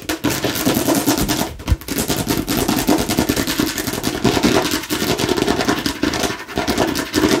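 Fingertips and nails rapidly tap the sides and front of a hollow plastic watermelon-slice bottle with a spiral straw cap. The result is a dense, continuous stream of quick, hollow plastic clicks and taps with a bright edge, broken only by brief pauses.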